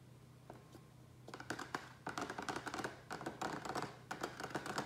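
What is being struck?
Small plastic tray.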